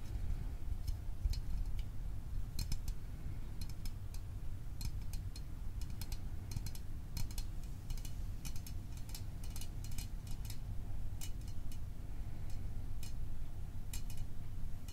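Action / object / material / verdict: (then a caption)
tap / small aluminium drink can / aluminium / none. A small, hollow Fanta orange aluminium drink can of unknown fill is held in both hands while fingertips and fingernails tap quickly around its sides. The result is a steady stream of light, bright ticking taps over a constant low rumble.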